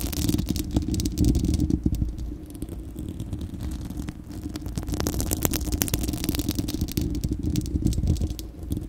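Long acrylic nails of both hands scratch a bare, hollow, fist-sized spherical steel wire-mesh microphone grille. The result is a dense, continuous rumbling scrape heavy in the low end, with rapid, irregular crackling strokes and occasional bright, sharp ticks.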